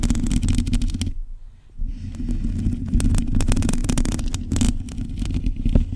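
Long nails scratch and tap across a black metal mesh microphone grille, making dense, crackly scratching over a heavy low rumble and dull thumps. The sound dips to a brief, quieter lull near the one-second mark, then the close, bassy scraping and tapping resume and continue to the end.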